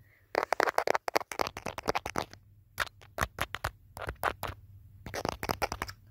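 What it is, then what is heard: Smartphone in plastic case. Fingertips tap the back and edges of a handheld smartphone in a teal hard plastic case, and the phone itself picks up the sound. Rapid clusters of short, dry, crisp plastic clicks come in bursts separated by brief pauses. Each tap dies away almost instantly.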